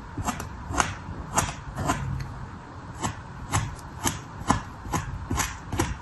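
A red plastic sculpting knife held in the fingers is drawn across a flat, pressed slab of solid, soft, dark red kinetic sand resting on a paper surface, scratching and scoring lines into it. About ten short, soft strokes are heard, each a quick scrape with a muffled low body and a bright, gritty hiss that dies away almost at once.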